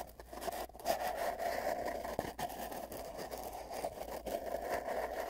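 Fingertips scrape and rub the ends of a long, hollow, empty cardboard tube wrapped with tape bands. The rubbing comes through as a continuous, papery scratching with a strong hollow midrange resonance, plus a few brief, sharper scuffs along the way.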